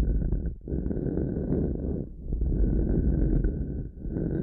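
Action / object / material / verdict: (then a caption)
scrape / thin bamboo coaster / bamboo / none. Long manicured fingernails on one hand scratch and tap a thin, flat, square solid bamboo coaster, the left one, resting on a headphone-style mic. The result is a dense, muffled, rumbling scratch concentrated in the low end, with a faint thin tone near 1.5 kHz. The sound briefly dips quieter around 0.6, 2.1 and 3.9 seconds.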